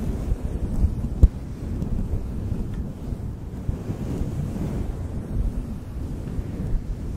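Fingertips of both hands brush and squeeze a fluffy faux fur windscreen around the capsule of a desktop microphone. The result is a continuous, muffled, low rumbling rustle with almost no high end, broken by one sharp thump early on.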